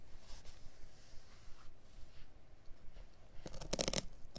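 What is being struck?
Synthetic pile carpet offcut.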